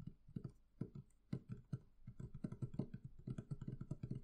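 Fingertips and long nails tap the wooden lid and curved lower sides of a medium, hollow, closed wooden barrel chest. The result is a quick, uneven run of soft, low, hollow knocks that die away almost at once, with faint clicks from the nails.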